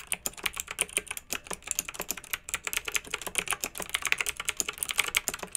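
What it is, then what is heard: Plastic mechanical keyboard. Both hands with long nails type rapidly on a pink plastic retro mechanical keyboard with round, backlit keycaps. The result is a steady stream of quick, bright plastic clicks and clacks, each dying away almost instantly, with almost no low end.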